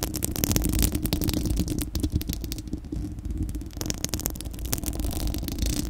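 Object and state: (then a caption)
Metal mesh microphone grille being scratched. Long acrylic nails of both hands scratch directly on a bare, round, hollow-dome steel-mesh microphone grille. The result is a dense, continuous stream of rapid scratchy clicks over a heavy, low rumbling boom, with a brief dip in intensity midway before the scratching picks back up.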